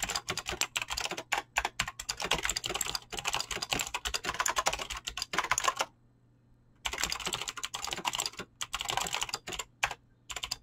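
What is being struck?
Mechanical keyboard, plastic keycaps.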